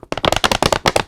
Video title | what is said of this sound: The Saint John's Bible: An Interview with Tim Ternes, Program Director | it sounds plasticky and that is real vellum